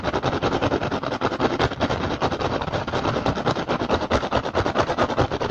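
Fingertips and short nails tap and scratch rapidly across the weave of an upturned, hollow, empty woven rattan basket. The result is a dense, fast, uneven stream of dry, crackly taps and scrapes with short, quickly fading decays that spread from a low thump into bright rustling highs.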